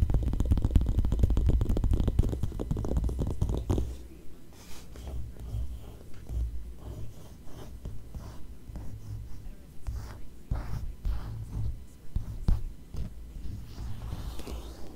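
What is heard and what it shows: Long nails scratch, trace and tap the thin glossy paper page of a magazine held open on the same spread. A dense, continuous scratching fills the first few seconds, then gives way to quieter, irregular taps and short strokes. The sound stays soft, dull and low-weighted, with no ring after each touch.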